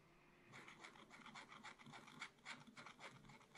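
A wooden stylus held in the fingertips scratches away the coating of a black wax-coated scratch paper page in a small spiral-bound pad lying flat on a table. After about half a second of near silence, roughly a dozen short, bright, raspy strokes follow in a quick, uneven rhythm. The scratching stays quiet and dry, with little low end.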